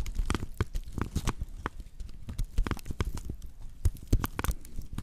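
A flat woven natural-fiber straw plate is held in both hands with its base facing the microphones while long nails scratch across the coiled weave. The sound is a steady run of short, dry, crackly scratches with soft low-end thumps and occasional brighter ticks, each burst dying away almost at once.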